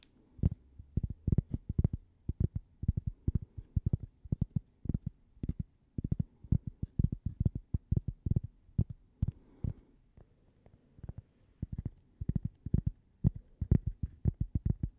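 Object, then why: Thin cork coaster tapped with fingernails. A thin, solid, toast-shaped cork coaster held near the mic is tapped with long painted nails. The result is a steady run of soft, dull, low thumps with almost no ring and no bright content, coming in quick clusters with brief pauses between them.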